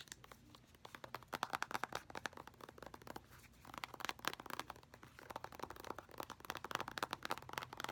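Fingernails rapidly tap and scratch an orange, filled, soft plastic squeeze tube of face mask, working over both the tube's surface and its crimped end. The result is a fast, dense run of dry, crinkly clicks and scrapes centered in the upper mids around 1.6 kHz, with bright edges and almost no low end. It comes in bursts with brief softer pauses.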